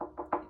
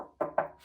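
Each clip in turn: First: Three knocks with a ringing, hollow mid-pitched tone: the tank's upper section is empty, holding only air. Second: Two dull knocks with a mid-pitched thud that dies almost at once: the tank is full of water down low.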